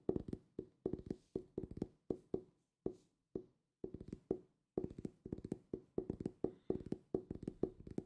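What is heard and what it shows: A solid purple hardcover book held up close is tapped with fingertips and ringed fingers. It gives quick bursts of short, dull knocks with a low-mid tone around 370 Hz that die away almost at once, with bright clicks on some strikes. The taps come in irregular rhythmic clusters separated by brief pauses.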